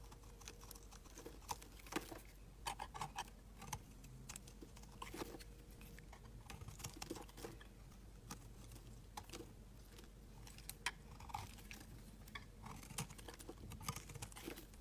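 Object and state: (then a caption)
Bar soap being carved. A utility knife blade carves and shaves flakes off a rectangular orange-yellow amber bar of solid soap. Quiet, crisp ticks and short scraping snaps come in quick irregular bursts, some bright and sharp, over a steady low hum.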